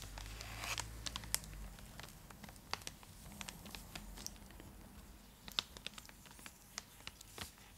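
A full, large purple Cadbury Dairy Milk chocolate block in its foil-lined plastic wrapper is held beside the face and scratched with long acrylic nails. Bright, dry crinkling and scratching come in irregular bursts of sharp clicks and taps over a soft low rumble that fades after the first couple of seconds.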